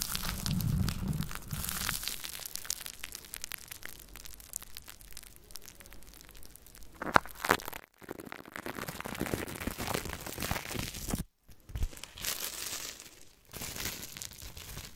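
Long manicured nails and fingertips scratch, tap and rub across the hollow, domed metal mesh grille of a Blue Yeti USB microphone held in place. The result is a dense, close crackling and scraping texture with bright, scratchy detail and irregular soft taps. It is broken by a few brief near-silent pauses.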